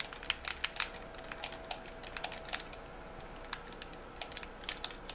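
Fingertips tap on the shell and triggers of a white, hollow plastic game controller. The taps are quick, irregular clicks, bright and dry with almost no ring, over a faint low background hiss.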